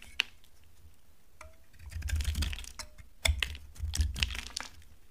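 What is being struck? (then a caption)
Laundry soap bar cut with a knife blade. A solid, dry brown laundry soap bar is carved with a utility knife blade. A sharp click opens the clip, followed by bursts of dry scraping and crumbly, crackling cuts with bright, crisp edges over a low rumble.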